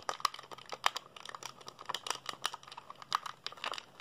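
Fingertips rapidly press the buttons and tap the casing of a hollow black plastic PSP handheld console held in the hands. The result is a quick, irregular run of dry, sharp plastic clicks with a mid-range tone and bright crinkly edges, each dying away instantly.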